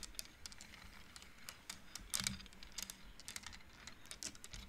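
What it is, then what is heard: Wooden abacus beads clacking. Fingertips and nails push colored wooden beads along the metal rods of a large wooden-framed abacus, making clacking sounds. A quick, irregular run of short, dry, bright clicks patters like typing, each dying away almost at once over a faint low hum.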